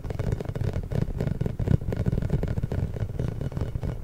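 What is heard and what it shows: A large pink, inflated, hollow rubber massage ball with small spikes, held behind the microphone, is rubbed and tapped with fingertips and short nails. The result is a steady, dense stream of soft, muffled thumps and rubbery scrapes, deep and dull with almost no bright edge.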